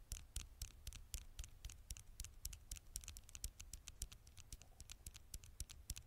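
Long nails tap and scratch the glass screen of a black smartphone held at an angle close to the microphone. A rapid, uneven series of dry, bright clicks with soft low thumps rides over faint scratching, and each tap dies away at once with no ring.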